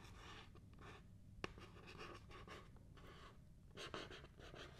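Long painted nails scratch and tap the flat printed surface of a small cardboard Paula's Choice Clear Skin Essentials product box held in both hands. Soft, dry, breathy scratching rises and falls in bright bursts over a low, steady background. A sharp, brief tap stands out near the middle, and a louder scratch swells near the end.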